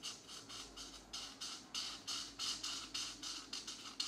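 A brush or felt marker tip is rubbed firmly back and forth over a paper coloring book page held flat by one hand. About thirteen bright, dry scratching strokes follow each other in a quick, uneven rhythm, with almost no low end and little ring after each stroke.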